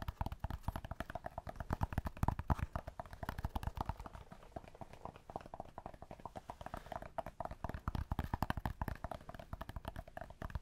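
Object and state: Cork block.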